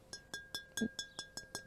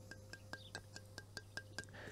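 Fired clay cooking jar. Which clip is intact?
The first.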